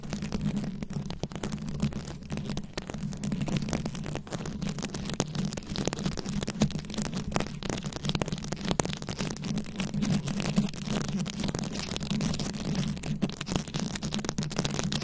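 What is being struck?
Microphone head covered in rhinestone beads, scratched with long nails.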